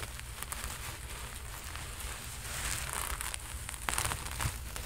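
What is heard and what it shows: A red sequin-covered costume jacket is held close to a microphone while its fabric is scrunched and fingertips rub and scratch across the sequins. The result is a steady, crinkly rustle with bright, sparkly crackles and scratches over a low rumble.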